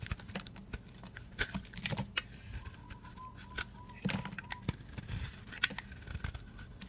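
A utility blade scrapes and shaves curls off a solid teal bar of dry soap held in the hand. Crisp, dry scraping and sharp, bright ticks come in quick irregular bursts over a low rumble, with a faint steady tone in the middle.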